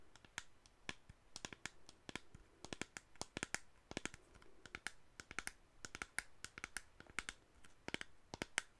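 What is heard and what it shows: Long acrylic nails quickly tap and scratch all around the sides of a medium-size, hollow black plastic cosmetic spray bottle with a white label, held upright in both hands. The result is a quiet, rapid run of dry, sharp clicks with bright ticks and no ring, over a soft scratchy hiss.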